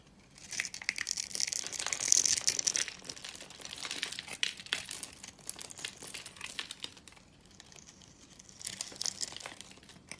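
A metal knife cuts and scrapes a solid, hand-held bar of dry purple soap that is pre-scored into a grid, so small cubes crumble off. Dense, bright crackling and crunching scrapes come in uneven bursts, loudest around the second second. The sound fades to quieter scraping and then swells again near the end.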